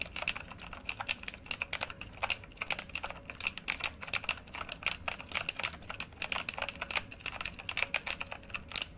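Both hands type rapidly with their fingertips on a full-size backlit RGB mechanical computer keyboard with plastic keycaps on a hollow housing, lying flat. The result is a steady, uneven stream of sharp, bright clacks with almost no low end, each one stopping instantly with no ring.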